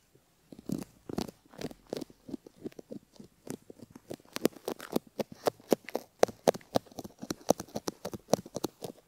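A bamboo ear pick scratches the inner bowl of a silicone ear model's outer ear near the canal, heard close up. Quiet, dry, crackly scraping strokes come in an uneven, rapid series. Each is a short burst centered in the mids around 500 Hz with faint bright edges and almost no ring.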